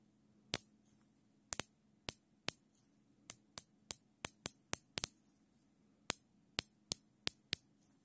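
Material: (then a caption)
Nylon. Gloved fingers pull the serrated tail of a larger black nylon zip tie, looped, through its locking head, producing a series of sharp, bright ratchet clicks with irregular spacing, some in quick pairs. Each click is short and dry, over a faint steady low hum.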